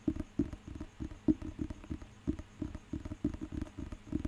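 Fingertips tap and scratch the glossy cover of a thick, solid, handheld paper dictionary. A steady run of quick, soft, dull taps sits low with a hollow knock, mixed with brief scratchy rubs. Each hit dies almost instantly, with no ring.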